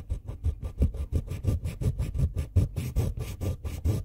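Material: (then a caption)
Wood and steel. The tip of a pink wooden colored pencil is filed by hand on a ribbed steel file, leaving pink pigment powder spread across the file. About twenty quick, fairly uneven rasping strokes follow one another, each a short dry scrape with a dull, low body and little ring.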